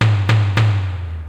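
A finished sourdough loaf is turned upside down and tapped three times on its bottom, each tap giving a low, hollow thud with a resonant ring. The hollow sound shows the loaf is baked through and ready.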